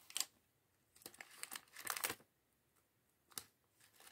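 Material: Plastic.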